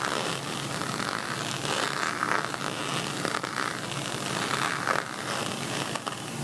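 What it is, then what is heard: Plastic beaded cosmetic pouch. Fingers with nails scratch and rake over the textured bead surface of a pixel-envelope plastic beaded cosmetic pouch. The result is a steady, dense, crackly scraping with bright clicking textures and a few brief louder bursts throughout.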